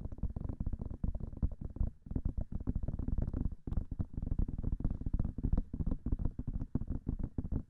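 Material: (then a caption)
Silicone. Long nails rapidly tap both white silicone ears of a binaural microphone, producing a dense stream of short, dull, low thuds with almost no high end. The tapping runs steadily, with brief pauses near two seconds and again just before four seconds.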